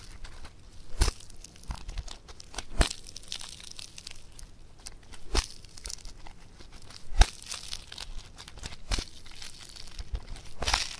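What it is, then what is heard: Foam bead clay (floam) being squeezed. Fingers squeeze and pull apart a multicolor blue foam bead clay (floam) studded with pink and green beads. A steady fizzing crackle is broken by sharp, bright snaps and crunches as the beads pop and the clay tears.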